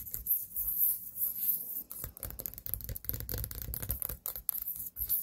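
A small white pumpkin standing on a table has its stem and body scratched and tapped with long nails. Dry, brushy scratching and quick, irregular taps carry a bright, hissy top over a soft low thump, with no ringing after each touch.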